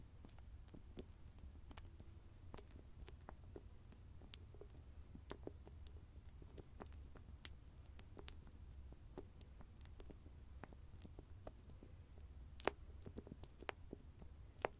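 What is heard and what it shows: Fingertips and nails tap and scratch the rim of the copper-coloured metallic lid on a small round grey cosmetic cream jar. Many short, dry, bright clicks ring off almost at once over a quiet, steady low hum.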